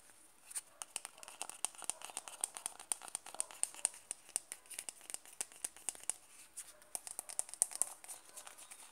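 Fingertips tap and scratch the side wall and lid rim of a small, round, closed white plastic Nivea cream jar. Dense, quick, dry clicks and scratchy rustles come with almost no ring, and the sound sits mostly in bright, high tones with a steady high edge. The taps arrive in a busy, uneven patter throughout.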